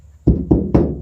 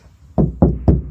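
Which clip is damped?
The second.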